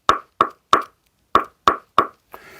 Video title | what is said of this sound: Is the Friday Fever Paddle Better Than the Vatic Saga V7? - Full Breakdown | it has a higher pitch tone. It's definitely a different build